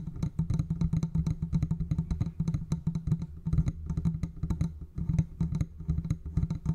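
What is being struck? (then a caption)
Metal condenser microphone body with mesh grille. A large silver metal condenser microphone on a stand, with a hollow metal body and mesh grille, is tapped and rubbed with the fingertips of both hands. Rapid, dry, closely spaced taps give a low, hollow thump around 156 Hz with very short decay. Soft rubbing fills the gaps, and faint bright clicks sit on top.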